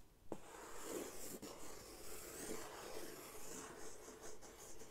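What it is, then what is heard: Corrugated cardboard sheet. A large, flat brown corrugated cardboard sheet is held upright by its top edge with one hand while the other hand rubs and draws on its surface with a white-barrelled marker. The result is a quiet, continuous scratchy rubbing with a soft, airy hiss and a few sharper scrapes of the marker across the board.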